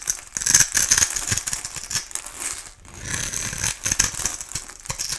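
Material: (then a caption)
Soap. A solid translucent orange oval bar of soap, held in the hand, is scraped and shaved into flakes with a metal utility-knife blade. The clip is a dense run of crisp, bright scraping and crackling that is mostly high in pitch, with short gritty bursts and brief pauses between strokes.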